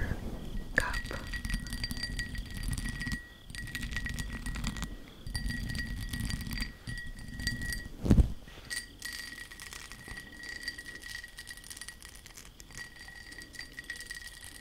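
Long acrylic nails tap and scratch a small, hollow, empty dark blue glass tumbler with a raised dotted texture, held in both hands. Rapid clicking taps and scratchy rubbing play over a low rumble and a faint steady high tone, with one louder knock near the middle.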